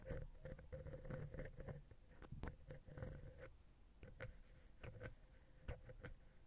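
A wooden ear pick scratches vertically between the capsules of the silver metal X/Y microphone head on a Zoom H6. This produces close, soft scraping strokes with a low, rumbling body and a faint ringing tone near 500 Hz. Quick, dry scratches come in bursts with short pauses between them.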